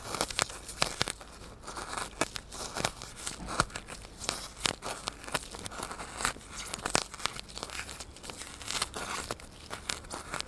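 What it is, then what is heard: Styrofoam block. Fingers and a needle scratch and crunch the surface of a solid white styrofoam block held upright in the hand. Dense, rapid bursts of crinkly, tearing squeaks follow one another throughout, bright and dry with almost no ring.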